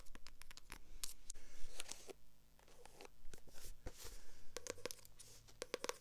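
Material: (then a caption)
Paper. Long acrylic nails scratch and tap across the glossy cover and page edges of a purple paperback book. Quick, dry clicks and bright scratchy rasps come in uneven bursts over a faint low hum, each one stopping almost at once.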